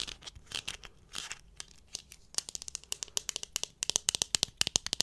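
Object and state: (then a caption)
Plastic lens cap. A small, flat, hollow black plastic Canon lens cap is held in both hands close to the microphone and scratched and tapped with long manicured nails. Soft, airy scratching gives way to quick, bright clicking taps that grow louder and denser toward the end, all high-pitched with almost no low end.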